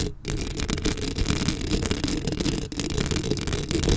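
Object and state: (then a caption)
Metal mesh microphone grille. Long acrylic nails on both hands scratch a black metal mesh microphone head up close. The result is a dense, continuous crackling scrape with a heavy low rumble and quick bright flicks over it. The level stays fairly steady, with a brief dip partway through.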